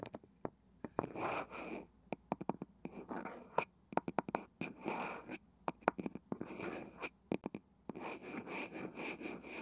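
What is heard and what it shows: Long nails scratch and tap the light wooden lid of a small round wooden box with a woven cane side, likely hollow. Soft, hissy scratching bursts with a steady bright edge alternate with many sharp, dry taps that stop almost instantly.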